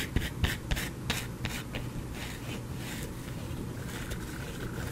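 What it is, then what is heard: Bar of soap scratched with fingernails. A solid white soap bar held in the fingers is scratched with fingernails, dropping shavings onto a cloth. A run of quick, crisp scrapes opens the clip, then settles into steady, softer scratching over a low, constant rumble.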